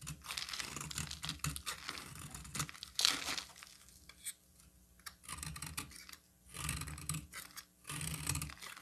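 A solid green bar of soap held in the hand is scraped with a metal utility knife blade into fine shreds. The sound is dry, bright scratching and crinkly shaving in bursts, with short quiet gaps between strokes.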